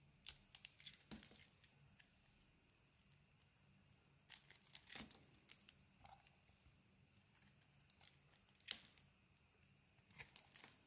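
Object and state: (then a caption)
Bar of soap being shaved. A small metal blade shaves a solid oval cream soap bar with a green coating, held in the hand. Soft, bright, crisp scraping and crackling comes in short clustered bursts, separated by quiet stretches over a faint steady low hum.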